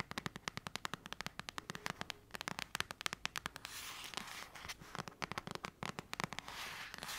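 Long acrylic nails tap and scratch the cover of a thick paperback novel. Rapid, sharp, dry clicks form an uneven rhythm, broken midway by a stretch of steady, bright, hissy scratching before the quick tapping returns.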